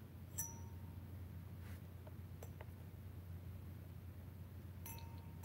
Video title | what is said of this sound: LIVE - Basement Gateway + Saging [Black Mirror Effects] | they make a nice noise